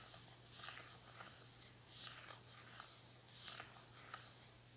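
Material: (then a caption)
Plastic. Long nails scratch and tap the smooth, hollow plastic back of a red plastic paddle hair brush that is turned over. Quiet, bright scratching strokes come in uneven bursts with a few light, crisp taps, over a faint steady low hum.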